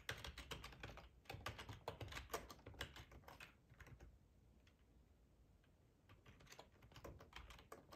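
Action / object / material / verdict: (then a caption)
tap / plastic computer keyboard / plastic / none. Fingertips of both hands type on a black plastic ergonomic split computer keyboard with a hollow housing, lying on a tablecloth. Quick, uneven clicky taps come in bursts with a low, hollow thud under each keystroke. A short quieter lull falls in the middle before the typing picks up again.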